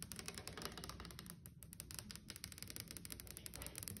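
Long acrylic nails on one hand tap and scratch rapidly across a flat, solid wood-grain tabletop, possibly laminate. The result is a quick, steady stream of short, bright clicks over a low, muffled knock from the surface.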